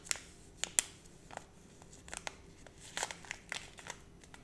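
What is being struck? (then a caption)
Small plastic foil zip pouch. A small flat holographic plastic foil zip pouch with a sticker on it, held in both hands, is crinkled and scratched with long red nails. Quiet, bright crackles and sharp ticks come in scattered bursts, with the loudest snaps near the start.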